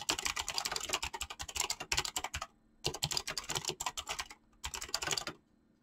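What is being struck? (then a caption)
Mechanical keyboard with plastic keycaps. Fingertips type fast on a mechanical keyboard with clicky switches and PBT plastic keycaps. Rapid, bright, crisp clicks come in three bursts separated by short silent pauses. Each keystroke is short and dry, with little low-end thump.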